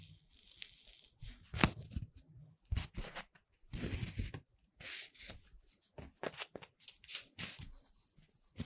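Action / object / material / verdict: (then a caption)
scrape / puffed corn-starch foam chain / corn-starch foam / none. A long chain of green puffed corn-starch foam segments is held in both hands while fingers with long red nails bend and squeeze the lightweight solid foam. The result is bursts of rustling, crunchy, tearing-like sounds with bright, airy highs and soft low thumps, separated by brief pauses.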